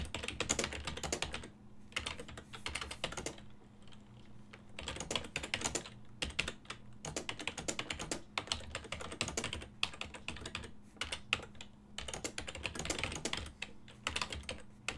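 A full-size black and silver plastic desktop keyboard with a hollow housing is typed on continuously by fingertips, giving rapid, bright, clattering taps in quick bursts. Brief pauses break up the runs, with a steady low hum underneath.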